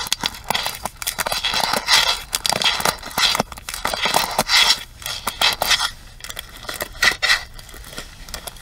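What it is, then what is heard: Plastic paddle hairbrush. Long nails tap and scratch the plastic rim and pins of a pink plastic paddle hairbrush held edge-on. The result is a quick run of bright, crackly clicks and scraping bursts with almost no low end. Each sound dies away almost instantly.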